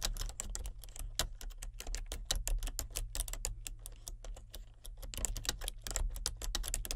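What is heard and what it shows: A solid, full-size plastic membrane keyboard with a colour-changing backlight is typed on continuously with the fingertips of both hands. It gives a rapid, uneven stream of short, dry, bright key clicks over a steady low hum.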